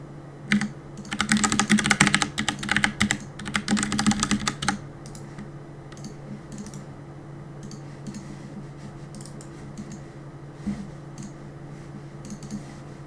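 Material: Plastic.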